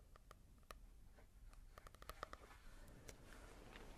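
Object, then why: Paper book with matte cover. Fingertips tap and scratch on a manga volume with a matte paper cover. Quiet, dry taps with a short click near 1.2 kHz come in an uneven series, with faint soft scratching and a low rumble beneath.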